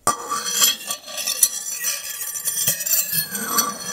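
The tines of a metal fork are scraped across the glazed surface of a large, flat white ceramic dinner plate held upright in both hands, at one point against the cheek. Continuous high, screeching scrapes are broken by sharp, bright clinks, with almost no low end and very little ring after each contact.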